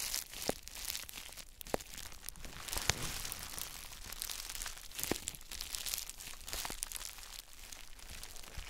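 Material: Plastic.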